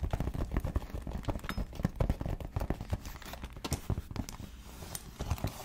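Long nails tap and scratch across a flat, pale pink grained leather wallet with stitched edges held in the hands. The result is a rapid, uneven run of dull, dry, low-heavy taps with very short decay, mixed with faint scratching.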